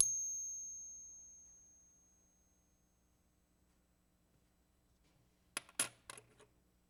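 A 1964 silver quarter, one of a lot of ten being ping tested, gives a high, pure bell-like ring that fades slowly over about two seconds. After a quiet pause, a quick cluster of short, bright metallic clinks follows. The ring confirms the quarters are authentic silver.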